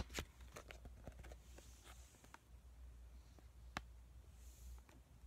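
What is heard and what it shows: A small, full white Makgeolli sheet mask packet made of crinkly foil and plastic laminate is held in the hands, tapped and squished with fingertips and short nails. Quiet, bright crinkles and sharp little ticks sound over a steady low hum, with a couple of louder taps standing out.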